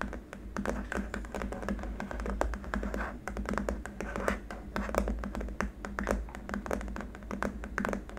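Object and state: Solid plastic keyboard wrist rest.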